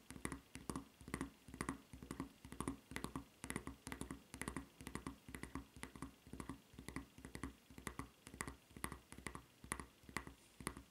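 Long red nails scratch and tap across the solid sole and red strap of a white rubber flip-flop lying on a table. A quick, uneven stream of short, dry taps and scratchy clicks follows, each with a soft low thump and a bright edge, fading almost instantly.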